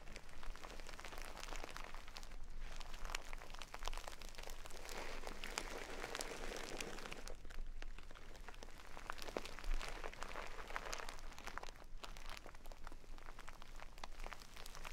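A small, full jute burlap bag of brown basmati rice is held up, scratched, and squeezed with long nails. Dense, continuous crunching and rustling fill the clip as the rice shifts inside, with a faint low hum underneath.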